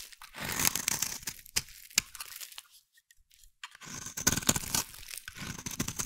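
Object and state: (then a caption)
Bar soap being carved. A hand-sized bar of solid cream-white soap is scraped with a metal blade, shaving off fine curls. Bright, dry, crunchy scraping comes in bursts with a few sharp ticks, falls nearly silent for about a second midway, then starts again.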